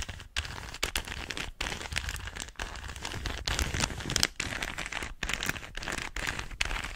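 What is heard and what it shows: A small hollow plastic 3x3 Rubik's cube is held in both hands while fingertips and nails twist its layers. The result is a dense, continuous run of quick, dry, bright clicks and crackly rattling, broken by brief pauses between turns.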